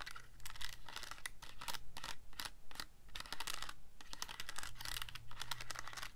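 Fingertips scratch the screen area of a black plastic Casio calculator and press its keys. Quick, dry clicks and taps come in a steady, uneven run, each short with a bright edge, over a faint low hum.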